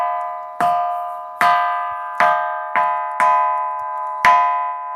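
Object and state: Ringing bell stone.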